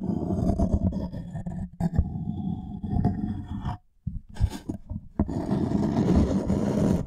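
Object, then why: Thin wooden tray. Fingernails scratch and tap the surface of a thin, light wooden serving tray or board held upright behind the microphone. A dense, low, rustling scrape runs steadily, then drops almost to silence for a moment before scattered sharp taps break through. The continuous scratching then resumes.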